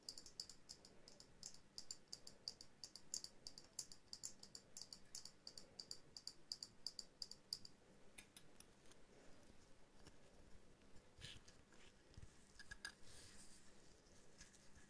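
Long nails tap rapidly on a small hollow glass dome ornament with a jute base, held near the microphone. Dense, bright, short clicks with a high glassy tone fill the first half, then the tapping turns softer and sparser, with a few scattered louder ticks.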